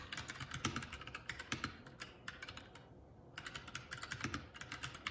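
Both hands' fingertips type continuously on a Keycool K84, a 75% mechanical keyboard with plastic keycaps. A rapid, uneven stream of short, bright clacks and taps runs throughout, with a brief quiet gap just before the midpoint of the second half before the typing resumes.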